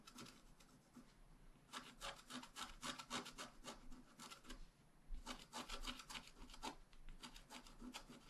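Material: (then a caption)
Waxed paper. A wooden stylus scratches across the right side of a thin, flat, wax-coated scratch-art paper card. Quick, dry, bright scraping strokes come in rapid, uneven bursts with short pauses between them. Each stroke stops almost at once with no ring.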